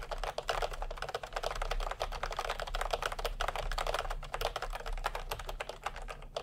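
Fingertips type fast on a full-size plastic computer keyboard with round pastel typewriter-style keycaps and a hollow body, resting on a white cloth. A rapid, continuous stream of short, hollow plastic clacks is heard, each tap dying out almost instantly, over a steady low hum.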